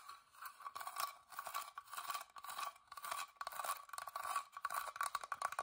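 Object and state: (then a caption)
Carved wooden box. Long dark-painted nails tap and scratch the carved front of a small, hollow, whitewashed wooden box with an openwork floral carved lid, held in both hands. The result is a quick, dry patter of light clicks and scraping strokes centered in the midrange with a bright edge, rising and falling in short bursts with no low end or ring.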